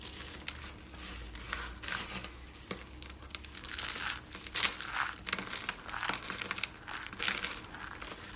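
Hands rub, scoop and squeeze a pile of pink and orange dry soap flakes on a white surface. The result is a steady, bright, crinkly crunching with dense rustling and louder bursts of crackle as the flakes are pressed together, and very little low end.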